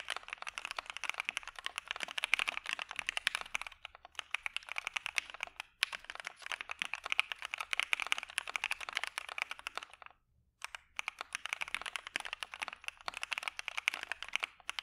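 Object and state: Mechanical keyboard with PBT keycaps.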